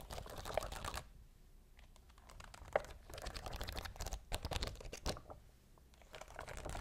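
Long blue acrylic nails scratch and tap across a large, thin, flexible transparent sheet of clear plastic backing covered in rows of small faceted rhinestones, held up in the air. Dense bursts of quick, dry clicking and crinkly scratching come and go with quieter gaps between them, each tick short and bright with almost no ring.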